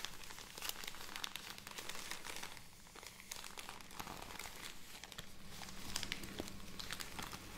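An opened plastic film bag of cotton pads lying on a table is crinkled and tapped with long nails. Soft, continuous crinkling and rustling mix with quick bright clicks from the nails over a faint low hum, staying quiet and close throughout.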